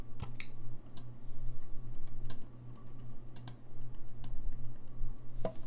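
Fingertips repeatedly tap and click the keys of a hollow, gold-lacquered brass saxophone held upright. The result is a run of short, dry, bright clicks over a steady low hum.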